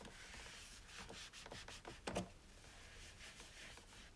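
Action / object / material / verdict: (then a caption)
scrape / plastic coffee maker / plastic / none. A paper towel wipes the top and lid area of a white plastic single-serve coffee maker with a hollow body while the other hand steadies the drip tray, and the lid may be handled at the end. Soft, papery rubbing swishes come in repeated strokes with a bright, hissy texture. A brief, louder scuffing burst stands out just past the two-second mark.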